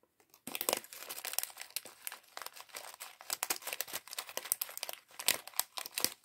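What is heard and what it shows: A small, clear, thin plastic polybag partly full of small plastic LEGO pieces from the LEGO City sandwich shop set 40578 is crinkled and pinched with the fingertips while the pieces rattle inside. After a brief quiet start, a dense run of bright, dry crinkles and short, sharp crackles follows, with almost no low end and no ring after each snap.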